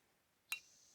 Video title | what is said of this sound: World's Best Axe $10 - Woodshed Wednesday! Ep.1 | strike the metal down here and it should let out a a nice ring like a bell